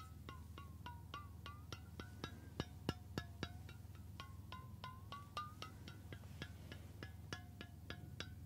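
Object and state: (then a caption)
Stainless steel water bottle. Fingertips and nails tap along the body of a medium, hollow, cylindrical stainless steel water bottle held beside the ear, giving about 28 quick, bright metallic taps in a loose, uneven rhythm. Each tap leaves a short ringing tone near 1 kHz that shifts in pitch as the taps move along the bottle, over a steady low hum.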